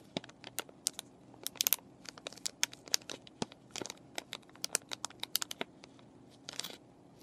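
Fingernails scratch and fingers crinkle a clear plastic and cardboard paintbrush package with the brushes still inside. The result is a quick, uneven series of sharp, bright crinkles, crackles and ticks over a faint low hum. Each snap dies out almost instantly, with a brief denser flurry near the end.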